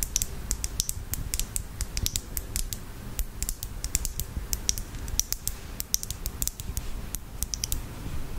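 Long fingernails tap quickly on a small glass bottle filled with red nail polish and on its black cap. The result is a steady run of short, crisp, bright clicks that stop almost instantly, over a soft low rumble.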